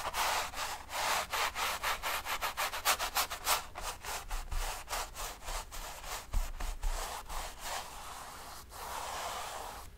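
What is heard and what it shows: A bristle brush is dragged and rubbed in long strokes across the painted surface of a large stretched cotton painting canvas lying on a table. It makes a quick, uneven series of dry, scratchy swishes with bright bristly hiss over a faint low rumble, slowing toward the end into a steadier rub.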